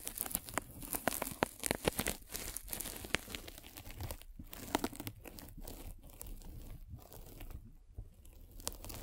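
A metal-spiked derma roller is rolled over a white polyethylene foam mesh net stretched over a microphone. It makes dense, crinkly crunching and tearing crackles with many sharp, bright clicks. The crackles are loudest in the first couple of seconds, then settle into a softer, steady rustle.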